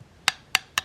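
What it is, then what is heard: Solid fish rib bone. A knife taps three times on another spot of a fish's rib cage. Each tap is a hard, dry, wood-block-like knock with a bright, high click and almost no ring. The sound shows solid rib bone.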